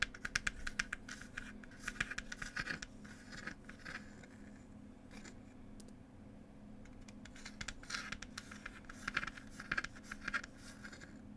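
Long pointed nails tap and scratch the wooden lid of a small wooden "Cherry Tea" box. Clusters of quick, dry, scratchy taps with a bright edge centred near 1.6 kHz open and close the clip, with softer, steadier scratching in the middle. A faint steady low hum sits underneath throughout.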